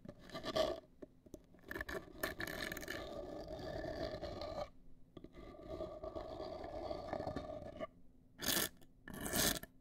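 Long acrylic nails scratch the front surface of a large, hollow, black printed cardboard cosmetic box held upright, making a dry, rasping scrape with a hollow ring around 600 Hz. Sustained scratching runs with two brief pauses, then ends in two short, bright bursts.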